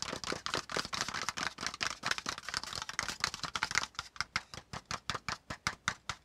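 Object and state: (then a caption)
Cardboard folder tapped. Fingertips of both hands tap fast on the top surface of a brown kraft cardboard folder, a hollow folded piece lying on a spiral notebook. The result is a rapid stream of crisp, dry, bright taps with almost no ring. The taps run densely together at first, then become more evenly spaced and distinct over the last two seconds.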